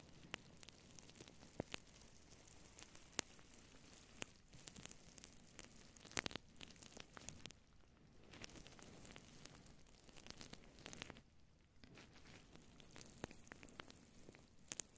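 Fingertips and long nails of both hands scratch and rub a fluffy synthetic faux fur microphone windscreen, a soft hollow cover. The result is a quiet, dense, crackling rustle like sizzling, bright and full of sharp little clicks, with brief softer lulls around the middle.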